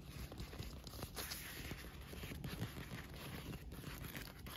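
Fingernails tap and scratch the printed panel and ribbed tubes of a green translucent inflated PVC pool float resting on grass. The air-filled vinyl gives soft, dull thumps and crinkly, scratchy rustling, with most of the energy low. A faint high band runs steadily through the clip.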